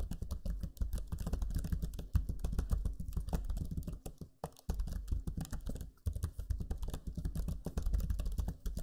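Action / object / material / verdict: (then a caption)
tap / plastic laptop keyboard keys / plastic / none. Fingertips type steadily on the low-profile plastic keys of a backlit black Lenovo Legion 5 laptop keyboard. The result is a dense run of quick, soft, low clicks with almost no ring. Brief pauses break the typing near the middle and again around six seconds.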